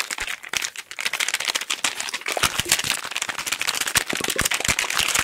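A small, flat, hollow pink printed cardboard box is held in both hands close to the microphones and tapped very rapidly with fingertips and nails. The result is a dense, continuous patter of short, dry, bright clicks with almost no low end, each tap dying away instantly.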